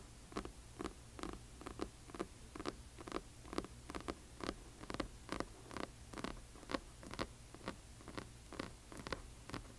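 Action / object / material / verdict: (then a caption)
tap / hardcover book with paper dust jacket / cardboard and paper / none. A large hardcover book with a glossy paper dust jacket lies flat while its cover is tapped and scratched with the long nails of both hands. About two dozen quick, dry tap-scratches land in a loose, uneven rhythm, each a short bright click over a steady low hum.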